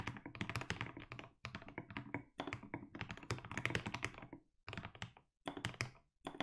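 Fingertips type continuously on a 60% mechanical keyboard with blue and grey plastic keycaps. The rapid key strikes sound deep and thocky, with a heavy low body and bright clicking tops, and brief pauses separate the bursts of typing.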